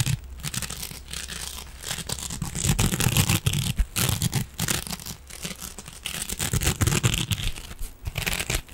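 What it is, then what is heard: Metal mesh scrubbing sponge. A silver metallic mesh scrubbing sponge is scratched and squeezed with fingernails, producing dense, irregular crinkling and scraping bursts. The bright, hissy rasp sits over a steady low rumble and continues throughout without pause.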